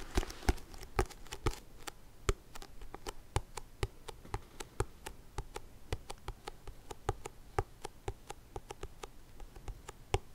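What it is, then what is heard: Paperback book tapped. A "Stochastik für Dummies" paperback with a glossy card cover and a solid stack of pages is held upright and tapped and scratched on the cover with fingertips and nails. Dozens of short, dry, dull taps sound at an uneven, unhurried pace, with faint scratchy rustling between them.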